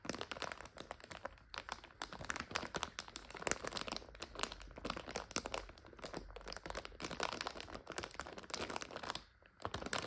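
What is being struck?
Plastic bag holding dry noodles.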